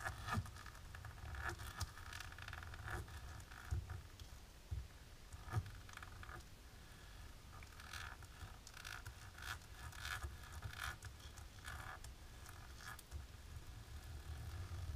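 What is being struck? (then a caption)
Embossed plastic sheet. Long natural pink nails of both hands scratch a flat, dark embossed plastic sheet. Quiet, dry scratching strokes come in short bursts over a steady low rumble, with a few sharper ticks standing out.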